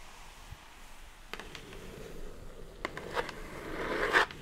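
Long nails scratch and tap along the side edges of a hollow brown kraft cardboard mailer box. Soft dry scraping is broken by several sharp taps, and a bright rasping scratch builds to its loudest near the end before it stops.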